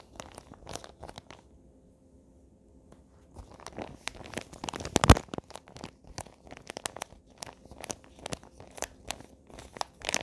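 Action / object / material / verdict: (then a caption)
scrape / paper-wrapped box / paper / none. A small rectangular present in printed Christmas wrapping paper, likely a hollow box, is handled and crinkled with fingertips and nails. Sharp, bright paper crinkles and crunchy taps come in quick bursts, with a brief quiet pause early on and the loudest crackle near the middle. Each sound stops almost instantly, leaving a dry, close, papery texture.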